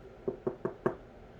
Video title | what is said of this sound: Wax HaulS - Yankee, Homeworx, Bath and Body Works, Goose Creek | thicker better made um you can even tell just by tapping on it